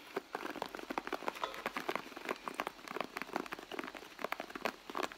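Long blue nails tap and scratch the leather side of a hollow, soft red leather handbag. Rapid, dry clicks and scuffs come in quick succession, with short, bright transients centered in the midrange, almost no low end, and no lingering ring.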